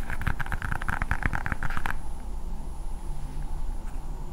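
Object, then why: Hard plastic toy ball. A hand-sized hard blue plastic ball with a Spider-Man sticker is tapped with long painted nails close to the microphone, making a quick run of crisp clicky taps. After about two seconds the tapping stops, leaving a low, steady rumble.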